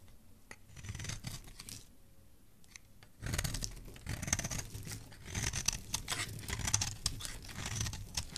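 A solid, pale, white speckled bar of soap held in the hand is carved into flakes with a metal blade. Soft, sparse scraping for the first three seconds gives way to louder, denser, crisp cuts with a bright, gritty rasp over a low thud. The shaving continues in irregular strokes.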